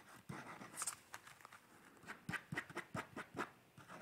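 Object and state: Pencil sketching on paper.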